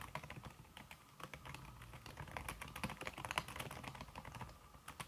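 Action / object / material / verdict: tap / aluminum keyboard with silicone key cover / silicone / none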